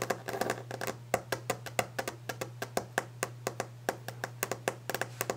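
Long orange-painted fingernails of both hands tap rapidly on a large, solid, varnished wooden desk top. About 30 quick, dry clicks with a woody tone near 530 Hz die away almost instantly, in an irregular flurry over a steady low hum.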